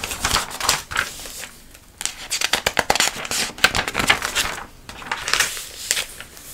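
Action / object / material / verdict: scrape / thick catalog with thin glossy paper pages / glossy paper / none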